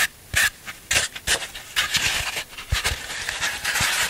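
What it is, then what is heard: Floral foam block scraped. A black scraping tool rubs and rasps across the surface of a solid green floral foam block held in the hands. Repeated bright, hissy scrapes come with short crunchy bursts, then settle into a steadier gritty rasping toward the end.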